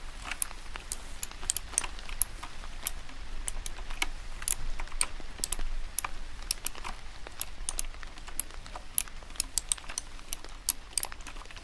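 A medium-sized retro typewriter-style mechanical keyboard, with round cream plastic keycaps set in a black body and a chrome bar on top, is held in one white-gloved hand while the end of a cigar taps its keys. It produces rapid, sharp, bright clicks that stop dead without ringing, over a steady low hum.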